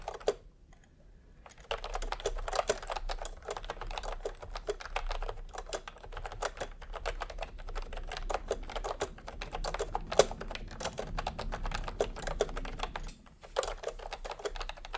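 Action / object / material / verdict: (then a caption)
tap / plastic keyboard with round keycaps / plastic / none. Bare fingertips of both hands type fast, repeated presses on a full-size pastel plastic retro keyboard with round typewriter-style plastic keycaps, resting on white fabric. After a near-silent opening, a dense, continuous clatter of crisp, clicky keystrokes with a mid-range tone runs until a brief pause near 13 seconds, then resumes.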